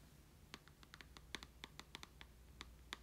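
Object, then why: Handheld game console with glass screen and plastic body. The glass screen of a handheld Nintendo Switch console, with a plastic body and red and green Joy-Con controllers, is tapped by short nails and fingertips while held in the hand. About fifteen quiet, sharp, bright clicks sound at an irregular pace and stop instantly, over a faint low hum.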